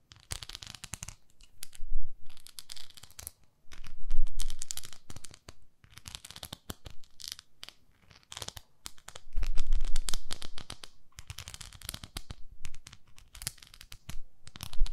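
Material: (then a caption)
Plastic. Long nails scratch and tap a flat, oval pink plastic facial cleansing pad with a handle, working over both its smooth back and its textured face. Rapid, irregular bright crackling scratches come in dense bursts, mixed with soft low taps.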